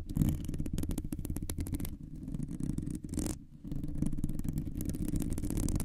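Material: Metal mesh.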